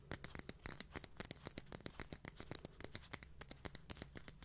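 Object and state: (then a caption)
Glitter-covered jar tapped with fingernails. Long manicured nails tap and scratch a small, round, silver glitter-covered container with a lid, likely hard plastic or metal, held in both hands. About thirty quick, bright, crisp clicks come in an uneven run, with faint scratchy rasps between them. Each tap is dry and stops at once with no ring.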